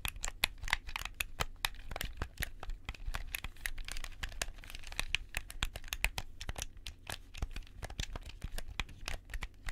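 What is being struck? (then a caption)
Plastic game controller buttons. White-gloved fingertips click the buttons and triggers of a hollow, handheld black plastic gamepad held close to the left microphone. A rapid, steady stream of sharp, dry, bright clicks and clacks follows, each cutting off instantly with no ring over a low, soft rumble. The clicking continues unbroken throughout.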